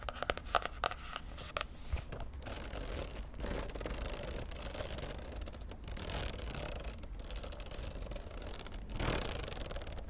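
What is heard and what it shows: Long nails scratch the glossy laminated cardboard cover of a popsicle-print spiral notebook held close, then run along its metal spiral. The result is a steady, dense scratching and rasping texture with sharp clicks early on and a brighter, louder scrape swelling near the end.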